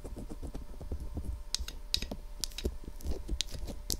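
Long acrylic nail tips tap rapidly on the top and sides of a white, hollow, box-shaped plastic binaural microphone (SR3D), about 25 cm long. The result is a steady, quiet patter of dry clicks, each with a low hollow knock and some bright, sharp ticks, that die away almost instantly.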